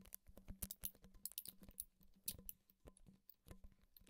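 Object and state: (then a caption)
Plastic creamer bottle. Fingertips and nails tap and scratch along the body of a medium plastic coffee creamer bottle, likely hollow or partly filled, with a blue label and a white/yellow cap, held close to the recorder. A quiet, uneven run of short, dry taps each pairs a dull low knock with bright clicky scratches, over a faint steady low hum. Each tap dies away almost instantly.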